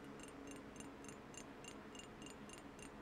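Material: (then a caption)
Glass. Painted fingernails tap on the glass sides of a square, partly filled glass perfume bottle with a cream cap, held up close. The taps come in a steady, even rhythm of soft, bright clicks over a low, constant background hum.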